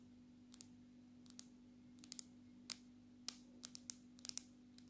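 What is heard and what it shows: Long natural nails on both hands tap the glass screen of a black smartphone in a case, held upright. About 15 sharp, bright clicks come in an irregular rhythm, each dying away almost instantly over a faint steady low hum.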